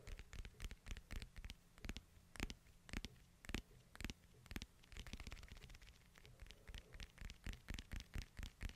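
Fingertips and nails tap and scratch the white/silver hard plastic case of a hand-sized smartphone held in both hands. The result is a quiet, uneven run of dozens of short, dry clicks, each with a low, muffled thump and a bright, scratchy edge, coming about twice a second. Brief rubbing scratches fill the gaps between the taps.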